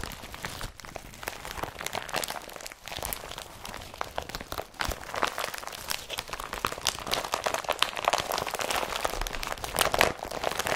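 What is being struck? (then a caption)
Woven polypropylene carrier bag. An empty blue IKEA BRATTBY carrier bag made of woven polypropylene is crumpled and lifted with both hands. It gives a steady, dense crinkling and rustling full of bright, crisp crackles with very little low end, growing a bit louder toward the end.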